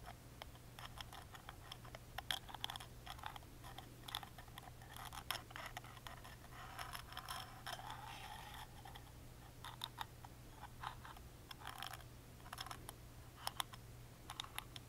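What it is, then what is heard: Wooden music box lid tapped and traced with a toothpick. A wooden toothpick traces and taps the engraved details on the small, hollow, carved plywood lid of a wooden music box held in the hand. Many quiet, dry, bright clicks and scratchy rubs come in uneven bursts, each dying away at once. A steady low hum runs underneath throughout.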